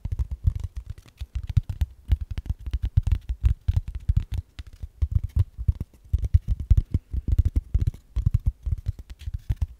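A flat, thin brown kraft cardboard sheet or envelope about a hand's width across is held up in both hands in front of the mic while fingertips and ringed nails scratch and tap its surface. The result is a quick, uneven stream of short, dull, thumpy taps and scratches that stays low and muffled, with no bright edge. Each tap stops dead with no ring.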